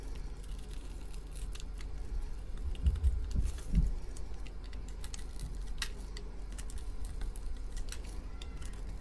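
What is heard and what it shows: A metal utility knife blade cuts the surface of a solid, dry pink soap bar held in the hand into small cubes, with crumbs falling away. Soft, crisp scraping and sharp little ticks run throughout over a low, dull rumble, with a few heavier, louder cuts around the middle.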